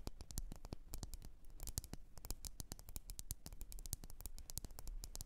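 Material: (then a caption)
Glass. Long nails tap and scratch rapidly on a lit red glass candle jar filled with wax. Quick, sharp, bright clicks with almost no ring are heard, mixed with scratchy rubbing over a steady low rumble and faint hiss, all at a quiet level.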